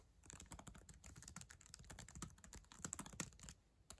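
Long acrylic nails type quickly on the plastic keys of a black ThinkPad laptop keyboard. A dense run of short, crisp clicks and clacks, each with a bright tip and a soft low thump, dies away almost instantly. The typing stays fairly steady, with a few louder taps near the end.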